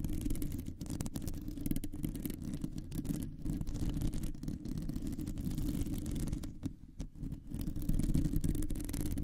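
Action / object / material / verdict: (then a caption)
scrape / metal mesh microphone grille / metal mesh / none. Long nails scratch and tap across a round, hollow metal mesh microphone grille. The result is a dense, continuous scraping rumble, heavy in the low end, broken by quick, irregular taps and brief dips in level.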